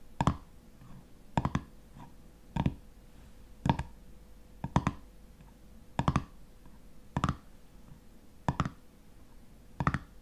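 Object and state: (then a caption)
Metal jar lid tapped with fingernails. Fingernails tap and scratch on the black metal screw lid of a full glass honey jar, making short, sharp clicks. The clicks come in single and double bursts at roughly one-second intervals, each dying away almost at once, with a faint steady hum between them.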